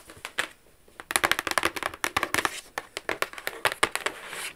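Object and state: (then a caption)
Cardboard gift box tapped and scratched with nails. Long acrylic nails tap and scratch the lid and edges of a medium, flat, rigid black cardboard gift box with a Versace logo, hollow and closed. Around twenty quick, dry, bright clicks come in an uneven run, with soft scratching between them. Each hit stops almost at once with no ring.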